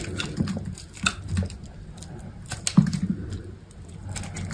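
A utility knife blade shaves thin curls off a solid, hand-sized cream soap bar. The scraping is soft, low and muffled, with short dull clicks and a couple of sharper cuts standing out over a steady rasping bed.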